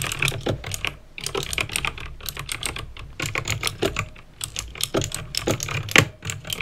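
Fingertips with painted nails type fast on a backlit plastic mechanical keyboard with clicky green switches. A rapid stream of sharp, bright clicks with short dry decay rides over soft low thuds from keys bottoming out, with brief pauses between bursts.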